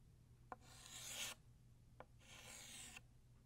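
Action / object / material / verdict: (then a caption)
scrape / chalk stick on a chalkboard / chalk / none. A blue chalk stick held in the fingers draws long horizontal lines across a flat black chalkboard. Two strokes each begin with a sharp tap, followed by a bright, rasping scrape that lasts about a second.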